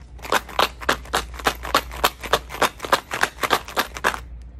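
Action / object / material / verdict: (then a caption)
shake / tube holding metal coins / metal coins / none. A tube holding pennies is shaken back and forth, producing a quick run of bright metallic rattles as the coins slide and clink against each other, about three bursts per second. The shaking stops just before the end, leaving only a faint low hum.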